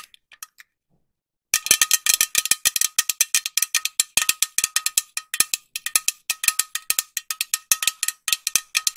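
Long nails tap a green metal aerosol spray can with a white cap close to the mic: a few light taps, a short pause, then fast, steady tapping of around fifty bright, clicky metallic hits. Each tap is short, with a faint ringing tone near 1.2 kHz and almost no low end.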